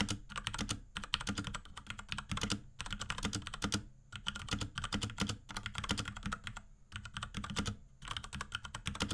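Fingertips of both hands type rapidly on a small pink Akko X Ducky 3084 mechanical keyboard with Cherry MX Brown switches and a plastic case and keycaps. Bursts of quick, bright clacking keystrokes with a low thocky body are separated by brief pauses.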